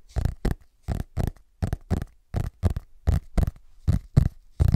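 Fingertips tap and scratch the cardboard cover of a large, closed, solid hardcover paper book with a parchment-style cover, using quick finger movements. About fifteen short, dull bursts land in an uneven rhythm, each with a low thud and a brief scratchy rasp that dies away almost instantly.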